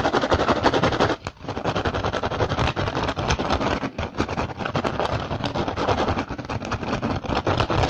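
Fingertips and short nails scratch and tap quickly across the weave of an upturned, hollow, empty woven rattan basket. The result is a dense, fast run of dry, crackly taps and scrapes with a hollow low thump, broken by brief dips near one and four seconds.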